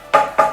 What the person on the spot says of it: tap the other side they should have different sounds because one's got water in